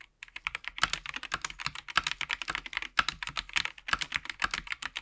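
Gloved fingertips type rapidly on a SteelSeries Apex Pro TKL mechanical gaming keyboard with plastic keycaps and its RGB backlight on, lying flat in dim light. After a brief silence, a fast, uneven stream of sharp, bright plastic clicks and clacks follows, each dying away almost instantly, with almost no low end.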